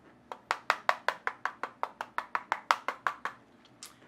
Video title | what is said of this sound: DIERYA DK63 Review - The Best 60% Keyboard for under $50 (Sound Test) | it's not as hollow as a lot of the keyboards it does have a little bit of weight to it